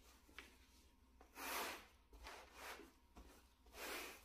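A wooden-backed bristle brush in a gloved hand is brushed across a small, solid, flat grey plush shag carpet mat. Three soft, broad brushing strokes swell and fade in a dry, airy rub with a bright hiss, and faint short scuffs sit between them.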